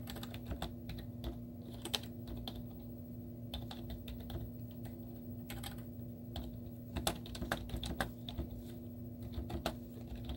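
Fingertips with short painted nails on both hands type continuously on a white plastic computer keyboard with cartoon stickers on its keys. Quick, crisp clicks with bright edges follow one another irregularly, each dying away almost at once. A steady low hum runs underneath throughout.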